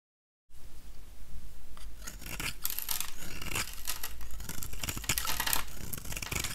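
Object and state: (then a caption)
Dry soap bar being shaved. A small, solid, dry oval yellow soap bar is held in one hand while a metal utility-knife blade shaves and scrapes thin curls off it. After half a second of silence, a continuous run of crisp, bright scraping and crackling strokes begins, sitting over a steady low rumble.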